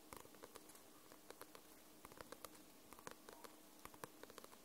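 Long nails tap and scratch the glossy paper cover of a paperback book, making a run of soft, quick, dry clicks with bright edges. Each tap dies away almost at once over a faint steady hiss, and the taps come at an uneven, unhurried pace.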